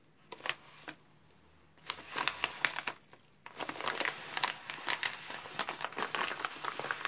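A white padded postal mailer envelope, flat and sealed, lies on a table while gloved fingertips and palms press, rub and slide across it. A few sharp, bright paper crinkles come first, then a denser burst of crinkling, a brief pause, and finally steady, continuous crinkling and rustling to the end.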